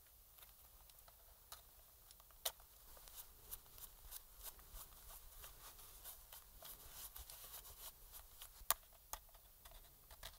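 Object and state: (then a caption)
Plastic game controller being scraped. A thin metal pick scratches and scrapes along the seams and grip edges of a hand-sized, hollow black plastic PS4 controller held in gloved hands. Soft, bright scratching runs throughout at a low level, broken by quick dry ticks, with sharper clicks standing out near 2.5 and 8.7 seconds.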